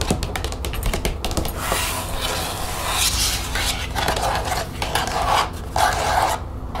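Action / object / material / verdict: scrape / plastic expanding folder / plastic / none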